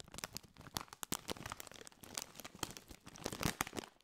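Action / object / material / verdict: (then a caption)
scrape / metallized plastic snack bag / metallized plastic / none. A partly filled Doritos bag, a metallized, foil-lined plastic chip bag, is crinkled and scratched with fingertips. It gives a dense run of sharp, bright crackles and rustling scrapes with short bursts of crunching throughout. Each crackle snaps off almost instantly, with no ringing.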